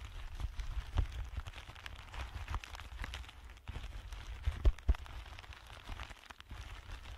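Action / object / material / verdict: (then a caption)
scrape / thin clear plastic bag / plastic / none. Fingertips of both hands press, crinkle and rub a thin, empty, clear plastic bag. The result is a steady, dense crackle with a deep low-end rumble, scattered sharp ticks, and a few louder snaps near the end.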